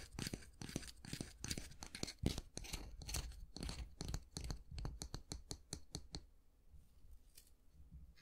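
Fingernails scratch the handle of a solid wooden long-handled brush and flick its natural bristles, producing quick, dry, bright scratching bursts with a soft low thud beneath them. The bursts come irregularly and densely, speed up into rapid short flicks, then fade to a faint, sparse rustle for the last couple of seconds.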